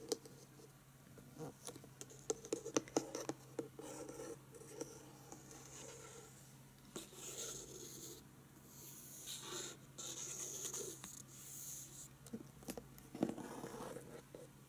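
A medium, flat, pink printed cardboard chocolate box, closed, tied with a satin ribbon and probably full of chocolates, is held in the hands and tapped and scratched on the lid with long painted nails. Soft, quick taps come first, then a steady, bright scratching with faint rustling, possibly from the ribbon, and a low hum underneath.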